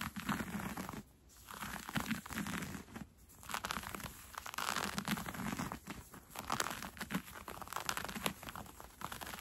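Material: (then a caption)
Cotton fleece. Fingertips with red-painted nails scratch and rub along the elastic, gathered waistband of brown cotton fleece sweatpants being worn. The soft fabric gives a steady, close, quiet run of crisp, crinkly scratching and rustling with a low body and bright edges. There are brief lulls near the one- and three-second marks.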